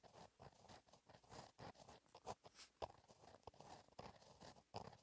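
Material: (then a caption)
Paper. A gel pen tip scratches cursive writing across a flat black lined paper notebook page, the same page throughout. Quiet, dry scratching comes in short, uneven strokes with brief pauses, a midrange rasp and a faint bright hiss on each stroke.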